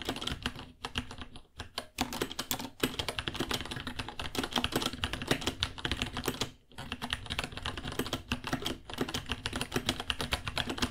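A white 66-key mechanical keyboard with plastic keycaps and a hollow case, about 30 cm wide, is typed on with fingertips. Rapid, bright plastic clacks with a hollow, low-mid thock run continuously over eleven seconds, broken by a few brief pauses.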